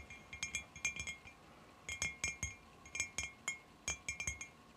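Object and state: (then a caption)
Glass jar. Long fingernails tap the top side of a clear glass cylinder jar lying on its side on carpet, hollow with dried flowers inside. Bright, high glassy clinks ring briefly around 2.4 kHz, coming in four quick bursts of taps with short pauses between.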